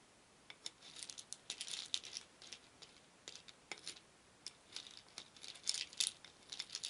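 A wooden spoon stirs many small painted wooden beads in a shallow wooden bowl, so the beads rattle against each other and the bowl. Quiet, bright, dry clicks and short clattering bursts come and go in uneven clusters, with no low end and almost no ring between them.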